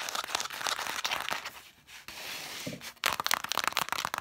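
Long matte dark nails scratch and tap quickly across the red cloth spines of a stack of vintage hardcover books. Dry, bright scratching and crinkly ticks come in dense bursts, fade into a quieter brushing stretch in the middle, then return in fast, sharp taps.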